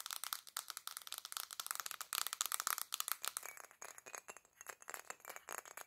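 Long black nails tap rapidly on a black glass perfume bottle with gold decoration, held in both hands. The result is a fast, irregular stream of sharp, dry clicks with no low end and almost no ring, bright and rattling with a glassy midrange tone and an occasional scraping quality.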